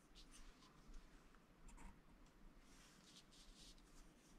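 A stylus scratches across a flat coated scratch-art sheet, making faint, dry, bright scratching strokes in short bursts. The strokes sit over a steady low hum and the whole clip stays quiet.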